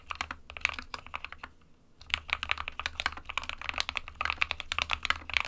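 Fingertips of both hands type continuously on an SK61 small 60% mechanical keyboard, which has a hollow plastic case with switches inside and plastic keycaps. Quick, bright plastic clacks centred around 2.4 kHz come in a dense stream with almost no ring. They pause briefly about halfway through, then resume over a faint low hum.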